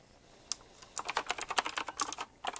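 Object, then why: Mechanical keyboard with round plastic keycaps. Fingertips type on a retro typewriter-style mechanical keyboard with round plastic keycaps set in chrome rings. After a lone click, a fast run of about fifteen sharp, bright keystrokes follows, each dying away almost instantly. A brief pause comes before a final few quick taps.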